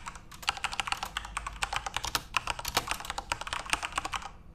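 Fingertips type continuously on a backlit plastic Corsair mechanical RGB keyboard. A rapid, steady run of short, bright clacks sounds, each dying away almost instantly, over a faint low background hum. The typing eases off and fades at the end.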